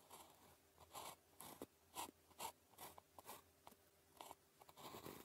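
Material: Paper.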